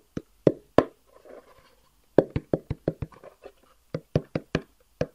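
A long, hollow black cardboard box with white edges is held upright and tapped with the fingertips, about fifteen quick, dry knocks with a dull, hollow tone around 400 Hz. The taps come in uneven clusters, with a soft rustling scrape between the first few, and each one dies away almost at once.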